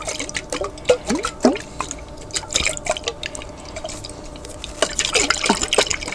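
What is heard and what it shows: A large lidded clear glass jar, partly filled with water, is tilted and shaken by hand so the water sloshes inside. It makes a busy run of dripping, bright liquid plinks and short bubbly blips that slide in pitch, over a soft, steady background hiss.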